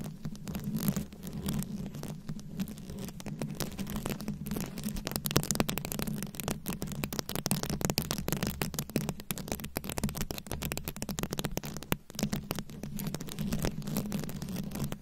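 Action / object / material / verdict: scrape / microphone head covered in glass rhinestone beads / rhinestone / none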